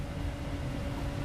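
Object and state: Nothing is struck.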